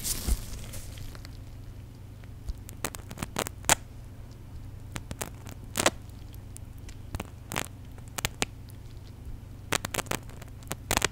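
A small white plastic contact lens solution bottle with its flip cap open, partly filled with liquid, is squeezed and shaken in gloved hands close to the mic. Soft sloshing and fizzy crackling fill the clip, with scattered sharp, bright crackles and pops over a steady low hum.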